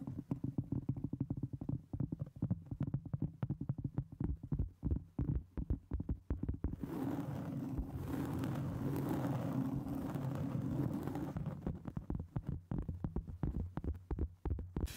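A round solid cork board about 25 cm across is held over a microphone while long nails tap and scratch its surface. Dense, dull low taps come in rapid bursts, then give way to a steadier, brighter scratching from about 7 to 11 seconds before the tapping returns.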